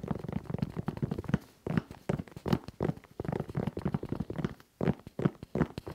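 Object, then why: Suede and rubber sneaker. Fingertips tap and scratch the sole and the side of the upper of an empty tan and red suede and rubber sneaker held at chest height, in quick patter-like strokes. The result is a rapid, irregular stream of soft, dull taps and brief scratchy rustles, mostly low in tone with little bright content, each stroke dying away almost instantly.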